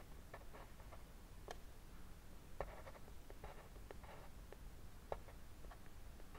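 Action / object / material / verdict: scrape / colored pencil on a paper drawing sheet / paper / none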